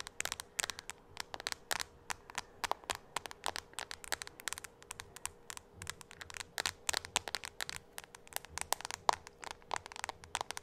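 A small, solid tablet with a white frame and glass screen is held in both hands and tapped on the screen with long acrylic nails. Dozens of sharp, bright clicks come in slow and quick bursts, each dying away at once, over a faint steady hum.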